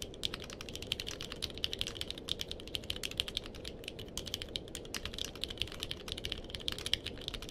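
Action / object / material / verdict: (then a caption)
tap / mechanical keyboard with plastic keycaps / plastic / none. Fingertips of both hands type steadily on a purple-cased mechanical keyboard with plastic keycaps. A fast, continuous stream of short, bright clacks rises over a soft, low background hum for the whole clip.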